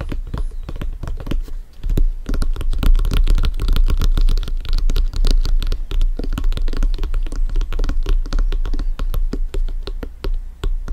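Both hands scratch and tap the panels of a blue, stitched, synthetic-leather soccer ball, hollow and inflated, resting on a black surface, using fingertips and nails. Quick, irregular taps and scratchy strokes tumble together, each with a dull, hollow low thump that dies away almost at once.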